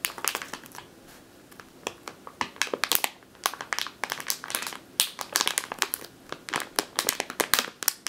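Long teal nails squeeze and scratch a medium clear plastic bag with a purple label, full of flour or grain. The bag gives off dense, crisp crinkling in quick, bright bursts with almost no low end, each crackle cutting off sharply.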